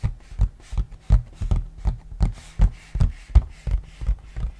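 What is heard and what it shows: Fingernails and fingertips scratch and rub the printed surface of a large, glossy cardboard board game box lid. The rubbing comes in about ten short, dull, low-heavy strokes at a loose, uneven rhythm, each fading almost at once with quiet gaps between.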